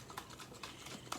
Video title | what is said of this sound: Professor M’s Art and Science Lab - Kitchen Chemistry; making butter | that sloshing sound is really starting to go away and it has more of like lumpy lumpy lumpy sound